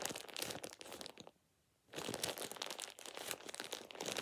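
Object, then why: Thin plastic shower cap. A thin light-green plastic shower cap is crumpled and rubbed between fingers with painted nails. It makes dense, bright crinkling and crackling with rapid overlapping crunches. The crinkling breaks for a brief near-silent pause partway through, then resumes just as busily until the end.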